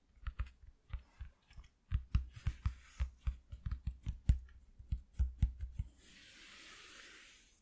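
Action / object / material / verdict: tap / thin corrugated cardboard sheet / cardboard / none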